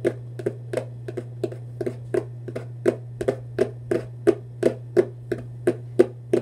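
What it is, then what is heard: Hollow cardboard box. Fingers tap and scratch the lid and side of a hollow Vans cardboard shoebox held horizontally at chest height. There are 23 short, dry, hollow taps at a brisk, uneven pace, each a low-mid knock with a bright papery click. A steady low hum runs underneath.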